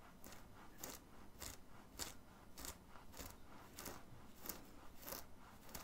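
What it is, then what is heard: Nails scratching a cotton t-shirt. Fingernails scratch the chest fabric of a worn black printed cotton graphic t-shirt in repeated strokes. Each stroke is a soft, bright, scratchy rasp that fades quickly, at a loose, uneven rhythm under a low, quiet background rumble.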